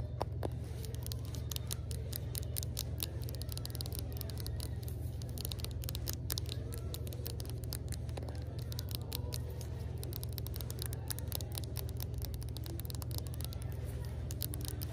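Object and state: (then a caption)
Glass jar with metal lid. Long acrylic nails tap and scratch quickly and irregularly on a small cylindrical glass jar, filled with a pale yellow solid and capped with a screw-on metal lid, held in one hand in a store, moving across the glass sides, the palm-leaf label and the lid. Sharp, bright clicks and scratches ring briefly over a steady low hum throughout.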